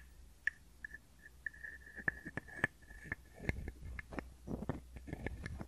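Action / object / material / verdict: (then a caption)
scrape / small hollow wooden frog guiro played with a wooden stick / wood / none. A small hollow wooden frog guiro, held close to the microphones, is scraped and tapped with a wooden stick. Short, bright, woody clicks and taps mix with a steady ringing tone around 1.7 kHz, over a faint low hum. Later in the clip the tone fades, leaving denser rustling taps.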